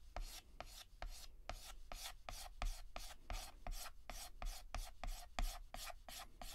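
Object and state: Chalk shading on a chalkboard.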